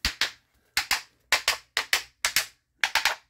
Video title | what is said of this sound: Quick Walk of this water damaged home. (Damage analysis.) | there's hollow tile which is a lot of moisture to get tripped underneath there